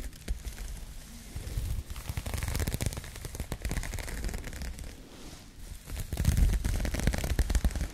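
Long nails scratch the knit texture of an empty, soft pink crocheted yarn bag. The result is a dense, irregular crackling of quick scratches with a low, muffled rumble underneath. It swells louder near the end.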